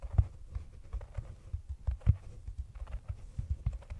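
Long nails tap and scratch the rim and sides of a hollow, round brown cork cylinder container sitting over the microphone. The result is a string of soft, dull, very low thumps at an uneven pace, with faint scratchy rustling between them. Each tap dies away almost at once.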